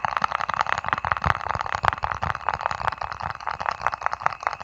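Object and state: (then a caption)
Small plastic jar, tapped and scratched. A small round white lidded plastic jar is held over the mic and tapped and scratched with fingertips and nails. Quick, dry clicks tumble over a continuous scratchy rustle, concentrated in the midrange with bright edges and little low end.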